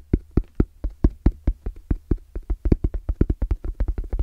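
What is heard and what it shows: Fingertips tap very fast on the lid and edge of a small, closed, hollow black zippered EVA hard-shell case with orange trim and a fabric-covered shell. About 25 quick, dull, low thuds come in a steady rhythm that tightens toward the end. Each tap dies away almost at once with a soft, padded knock and little brightness.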